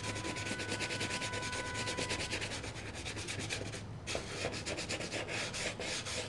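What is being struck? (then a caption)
Leather shoe upper rubbed with a foam applicator. A foam polish applicator rubs back and forth across the leather upper and toe of a black leather shoe held by hand; the shoe is hollow and empty with a rubber sole, and the polish tin sits nearby on the floor. The result is a steady, brisk, bright scrubbing hiss with a faint low hum underneath and a faint steady tone during the first couple of seconds. The rubbing briefly dips just before the four-second mark, then resumes at the same rhythm.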